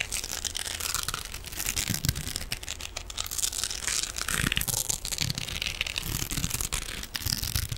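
An elongated silver metallic mesh scrubbing sponge, held in one hand, is scratched with the fingernails of the other hand. The result is a steady, bright, crinkly scratching and rasping that runs throughout, with dense crackles over a faint low rumble.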